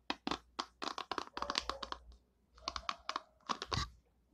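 A long nail flicks and scratches the white pin bristles of an oval orange and purple plastic hairbrush. The result is a series of quick, dry, bright crackling ticks in two bursts separated by a short pause, each click dying away almost instantly.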